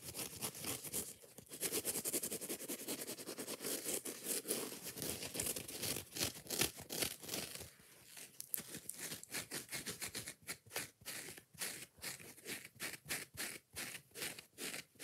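Long nails scratch and dig rapidly into the yellow foam of a hand-sized kitchen sponge with a green scouring layer. The result is a dense, bright, crinkly rasping that runs almost continuously at first, then breaks into quick separate scraping strokes with short gaps between them.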